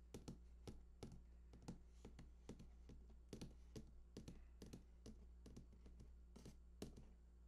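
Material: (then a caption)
Cardboard. Fingertips tap the bottom edge of a large, hollow cardboard PS4 console box lying on its side, producing a quiet, irregular run of short, dull taps with a bright click at each touch. Each tap dies away almost at once over a steady low hum.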